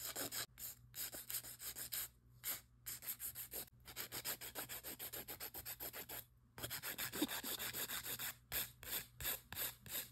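Long acrylic nail extensions on a hand have their side walls filed with a white emery board held in a gloved hand. Quick, bright, raspy back-and-forth strokes come in bursts separated by short pauses, over a faint steady low hum.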